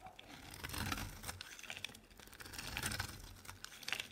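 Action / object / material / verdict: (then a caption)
scrape / bar of soap scraped with a blade / soap / none. A solid purple bar of soap, held in hand, is scraped and shaved with a utility knife blade as soap flakes pile up. The sound is a quiet, continuous run of crisp, bright scraping and crackling with many tiny clicks, swelling and easing over a few seconds.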